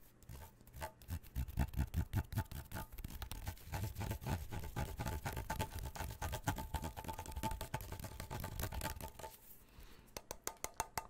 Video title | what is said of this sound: Melatonin Can't, But a Tin Can - Tin Can ASMR (Tapping/Sloshing/Whispering) | i like this sound a lot i think it gets in deep